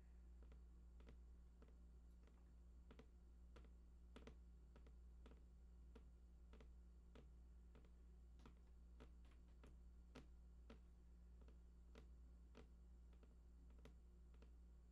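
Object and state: Cardboard box.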